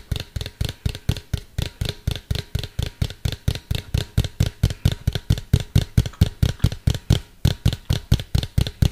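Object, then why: Hollow plastic cylindrical container. Fingertips and nails tap a medium, hollow, white plastic cylindrical container held close to the mic. About 40 quick taps come in a rapid, fairly steady run. Each is a dull, hollow thump centered low, near 100 Hz, with a faint bright click on top, and dies away almost at once.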